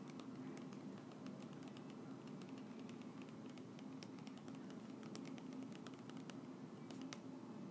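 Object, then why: Small plastic bottle partly filled with oil. A small clear plastic bottle with a white cap, partly filled with golden oil, is held in both hands and tapped with long nails. Quick, light, bright clicks patter unevenly over a steady low hum. The whole clip stays quiet and even in level.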